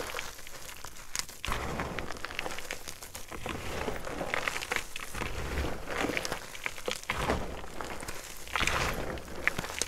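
A mound of crushed white gym chalk (magnesium carbonate) powder and chunks on a dark surface is squeezed, pressed and crumbled by both hands. A steady, dense run of dry crunching and crackling plays throughout, with louder bursts of crumbling and bright, gritty textures over a soft low rumble.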